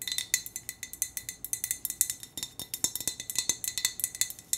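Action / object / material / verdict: tap / glass hurricane lantern / glass / none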